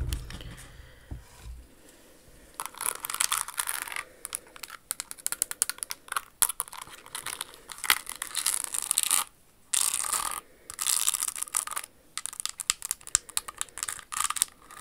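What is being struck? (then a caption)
Rhinestone-covered high-heeled shoe. Long acrylic nails scratch and tap the crystal surface of a pink rhinestone-covered Jimmy Choo stiletto pump. The result is bright, dry, crackly scraping in dense bursts with quick clicky taps, separated by brief pauses and with almost no low end.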